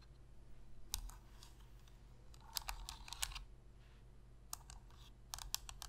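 Long red fingernails tap and scratch the shell of a black Sony PlayStation controller, made of hollow hard plastic and held in both hands, and press its buttons. The result is quiet, sharp, bright clicks and ticks that come in scattered bursts with almost no ring, over a low steady hum.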